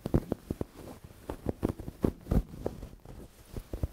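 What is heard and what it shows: Long dark-painted nails and fingertips scratch, rub and squeeze a medium-sized, soft, stuffed dark grey velvet cushion held in front of the microphone. The result is a quick series of soft, dull, low thumps and muffled brushing scrapes with no bright edge, each dying away almost at once.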